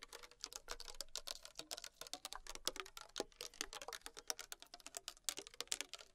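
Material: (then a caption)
Plastic. Long acrylic nails tap fast on the body of a small, thin PET plastic water bottle with a blue cap, held in hand and containing liquid. The result is a quiet, rapid stream of bright, crisp clicks that die away almost instantly, with very little low end.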